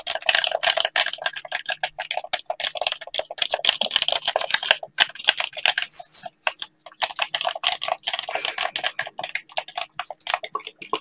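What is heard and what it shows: Blue latex-gloved fingers tap and press the buttons and shell of a hollow black plastic gamepad. The result is a dense stream of crisp, bright clicks and taps with almost no low end and no ring. They come in quick flurries, with a brief lull around the middle.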